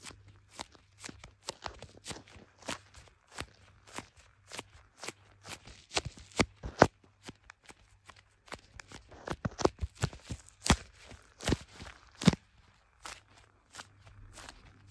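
Leather-gloved fingertips tap and rub the back of a clear plastic MagSafe case on a handheld blue iPhone, the recording phone itself. About 25 short, dry, close-up taps land in an uneven rhythm with soft rubbing between them. A faint low hum runs underneath.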